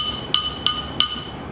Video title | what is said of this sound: Forged Steel vs Billet Steel Crankshafts - Comparison | you hear that that that ringing noise on that thing that's that's a good crank